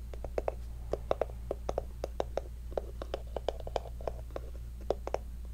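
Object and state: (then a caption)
Small hollow wooden box. A small hollow wooden heart-shaped box, held in both hands, is tapped and scratched with long fingernails. Quick, irregular clicky taps with a hollow, mid-pitched knock die away almost instantly, mixed with faint scratching. A steady low hum runs underneath throughout.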